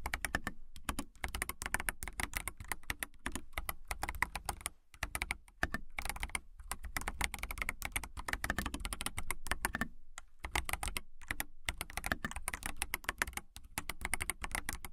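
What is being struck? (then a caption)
Plastic mechanical keyboard. A transparent mechanical keyboard with a clear acrylic case, clear plastic keycaps and RGB lighting is typed on with long nails and fingertips. It produces a fast, steady stream of short, crisp key taps with a clicky upper-mid tone and a soft low thump, broken by a few brief pauses.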